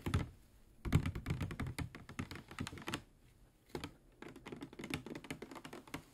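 A medium-size, clear plastic PET water bottle with a white cap, hollow with water inside, is held in the hand and tapped with fingernails. Quick flurries of light, dry clicking taps come in bursts separated by brief pauses, each tap a short, low, hollow thunk with a bright tick on top that dies away almost instantly.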